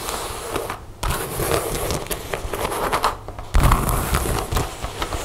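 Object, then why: Leather jacket. Long nails scratch and rub across the chest panels of a dark brown leather jacket with zippers and snap pockets. The result is a dense, crackling, scraping texture with a low rumbling body, pausing briefly just before 1 second and again near 3.5 seconds before resuming louder.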